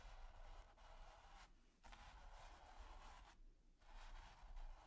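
A stiff bristle brush tip is scratched across a flat, taut, textured primed canvas, making a quiet, dry, bright scratching hiss. The scratching runs steadily, broken by two brief pauses, over a faint low rumble.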